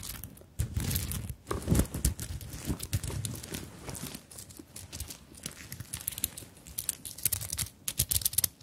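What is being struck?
Fabric handbag covered in sequins and beads.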